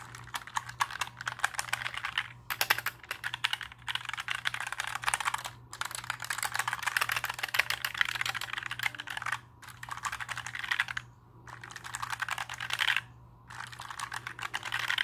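A compact black plastic mechanical keyboard is held and tilted while fingertips tap and press its plastic keycaps. Rapid, bright clicky clacks come in dense bursts separated by brief pauses, each keystroke short and dry with almost no ring, over a faint steady low hum.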